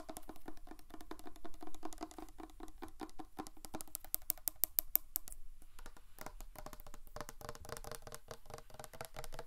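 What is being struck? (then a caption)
Insulated drink bottle. Long nails tap and scratch a large, black, matte, hollow, insulated 720°DGREE drink bottle in a fast, continuous flurry of light clicks and brushing scrapes. The taps ring briefly with a hollow, mid-pitched tone, and a run of sharper, brighter clicks stands out around the middle.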